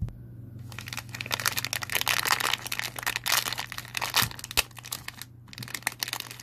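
A small white POP MART blind-box pouch made of foil-laminated paper, hollow and holding a figure, is crumpled and rubbed between the fingertips of both hands. It gives off dense, bright crinkling and crackling that swells and fades in bursts, over a steady low hum.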